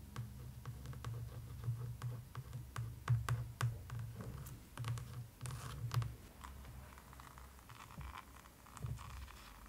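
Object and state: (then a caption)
Hardcover book with glossy cover. Long pointed manicured nails tap and scratch the glossy laminated printed board cover of a closed, solid hardcover book, *How to be a Vampire*, first lying flat and then lifted in hand. The result is a quick run of short, dry clicks and scratchy scrapes over a dull, low, boomy body, with bright ticks on top and no lingering ring.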